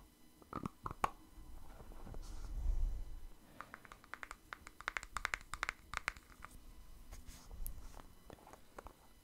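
Fingertips tap and scratch the white lid and body of a small plastic cosmetic cream jar held close to the mic. Sharp, dry clicks with bright, clacky tops come in irregular bursts. Soft, low scratching rubs swell between them and die away almost instantly.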